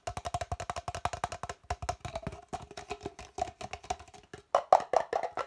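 An empty, hollow red plastic party cup with a white interior is held in the hands and tapped and scratched fast with the fingertips and nails. A rapid run of about 34 short, dry, hollow knocks rings around 750 Hz, each dying out almost instantly. Near the end, a louder, brighter burst of scratching and tapping takes over.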